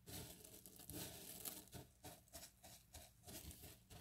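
Bare fingertips and palms rub, press and scoop through a loose pile of small, solid, dry cut bar-soap cubes in pale green and white resting on a yellow mat. A steady run of bright, dry crunching and crinkling bursts rises and falls as the cubes shift and grind against each other, with a soft low rumble beneath.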